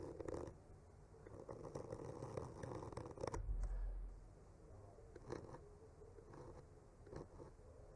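A hand traces and scratches a bamboo skewer, with a mic attached, slowly across a solid wood panel painted with tree trunks. The result is a quiet, soft scraping and rubbing dominated by low rumble, with occasional brighter scratchy strokes rising above it.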